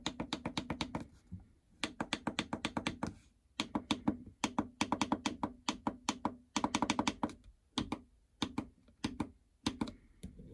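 Long fingernails and fingertips tap across the start, incline, speed and stop membrane buttons of a plastic treadmill console with a hollow housing. The result is quick runs of short, dry clicks with a hollow, mid-pitched body and bright edges, separated by brief pauses.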